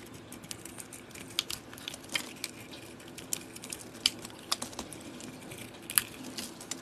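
A solid oval soap bar with a copper coating, held in the hand, is carved with a utility-knife blade that exposes its cream interior. Soft, bright scraping and crinkly shaving sounds run throughout, broken by irregular sharp, crisp clicks as the blade cuts. The sounds are quiet and very short, with almost no low end.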